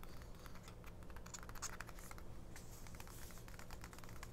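A small 1999 paper mini-book, an open paperback booklet with glossy printed ad pages resting on a fabric cloth, is tapped and scratched quickly by long nails on the right-hand page, keeping the same spread open throughout. The result is a quiet, continuous patter of short, dry, bright clicks and papery scratches over a steady low hum.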